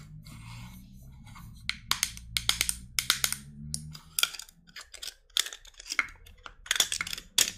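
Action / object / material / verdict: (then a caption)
tap / small plastic cosmetic jar / plastic / none. Long acrylic nails tap and scratch the lid and sides of a small, solid-walled white plastic face cream jar with a silver-banded lid, held in the hand. Quick, bright clicks and dry, scratchy rasps come in uneven bursts, each dying away almost at once. A faint low hum sits underneath for the first few seconds.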